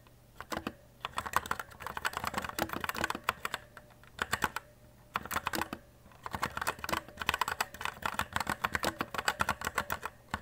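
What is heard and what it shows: Both hands' fingertips with short nails rapidly press the plastic keycaps of a white, RGB-backlit E-Element Z-88 compact mechanical keyboard on a desk. Quick, bright clacks come in dense bursts, with short quiet gaps between runs of typing. Each keystroke is crisp and dies away almost at once.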